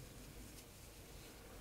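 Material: Nothing is struck.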